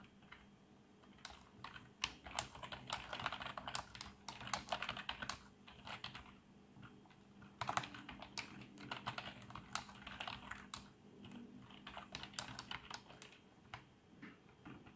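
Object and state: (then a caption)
Plastic membrane keyboard being typed on. Fingertips type on the keys of a black plastic membrane keyboard with an RGB backlight, producing quick, soft plastic taps and clicks with a bright edge. The typing comes in two busy runs separated by a brief lull near the middle, with a faint steady low hum underneath.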